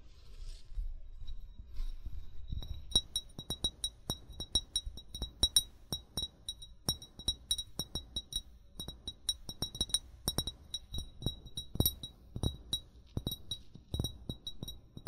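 An upright, hollow amber glass bottle held in both hands is tapped with short fingernails and fingertips in a quick, uneven series of light clinks. Each tap gives a short, bright glassy ping with a high ringing tone near 3.9 kHz over a soft low thud, and the ring dies away almost at once.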